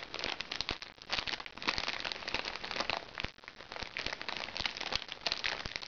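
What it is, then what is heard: Crinkly plastic package. Painted nails scratch and pinch the plastic wrapping of a flat, crinkly plastic package held upright. The result is dense, bright crinkling and crackling with many quick, sharp snaps and almost no low end.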